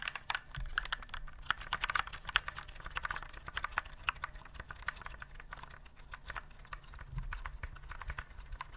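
A white plastic typewriter-style keyboard with round keycaps is held upright near the mic while fingertips press and tap the keys. It produces a steady stream of short, sharp clacks centered around 1.5 kHz with bright edges, over a faint low rumble. Each click dies almost instantly, with occasional louder accented taps.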